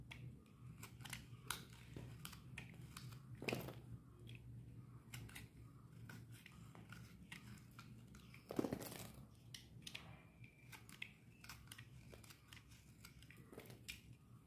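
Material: Soap.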